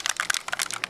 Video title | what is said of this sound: Benjy & Loucas' Science Project | you can hear the mentos inside it